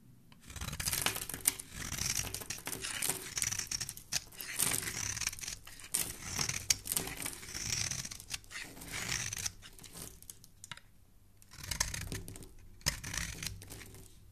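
A hand-sized, embossed, solid rectangular white bar soap is held in hand and scraped and shaved with a blade, with soap flakes falling onto a wooden surface. Bright, dry, crisp scraping and shaving strokes come in dense bursts separated by short quiet pauses.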